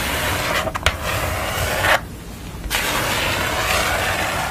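Long nails scratch steadily across a pastel portrait drawn on a thin, flat sheet of brown paper or card board, making a dry, bright rubbing hiss. A few sharp taps on the sheet break through early on. The scratching briefly drops away near the middle, then resumes at an even level to the end.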